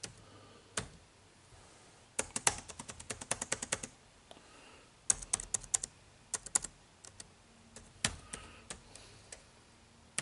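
Fingertips type rapidly on an HP laptop's plastic keyboard with dark plastic keys. Bright, crisp key clicks with almost no ring come in quick bursts separated by short pauses, over a faint background hiss.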